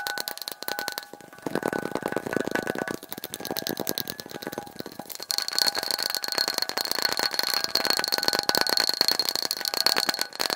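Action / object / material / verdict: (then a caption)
tap / glass light bulb / glass / none. A glass light bulb is tapped quickly and continuously, sped up to double speed. Rapid, dense clicks with a bright glassy ring and a steady high tone, little low end, growing louder and busier about halfway through.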